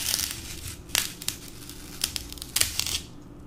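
A solid green floral foam brick, held in the hand, is scooped with a metal melon baller to carve round holes. Bright, dry scraping and crunching bursts sound over a soft crackling hiss, each stopping almost at once.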